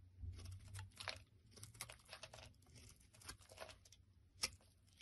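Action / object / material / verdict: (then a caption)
scrape / bar of soap scraped by a metal blade / soap / none. A metal blade scrapes across the face of a solid, rounded bar of tan soap held in the hand, shaving off thick flakes. Quiet, crackly scraping strokes with a bright, papery texture follow one another, over a soft low rumble at the start. A sharper, louder scrape stands out near the end.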